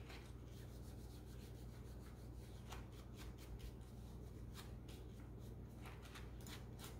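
A small, hollow pink and black plastic computer mouse, held above a closed laptop, is rubbed and wiped with a white wipe by hands in green rubber gloves. Soft, steady rubbing and brushing continues throughout, with brief bright swishing strokes over a low, constant hum.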